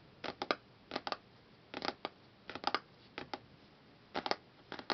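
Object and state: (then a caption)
Laminated hardcover book cover, solid. Fingertips and nails tap and scratch on the solid front cover of a large closed hardcover book, a glossy laminated cardboard board printed with a flower pattern. Short, dry, bright bursts arrive in quick clusters of two to four, with almost no low end and each one dying away almost instantly. Faint background hiss fills the quiet gaps between clusters.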